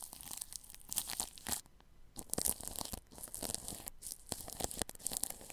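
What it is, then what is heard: Plastic cling film brushed over a microphone. A paintbrush brushes plastic cling film wrapped over a ball microphone's grille, making close, crinkly, tearing-like rustles full of bright hiss. The strokes come in dense, uneven bursts with brief quieter pauses between them.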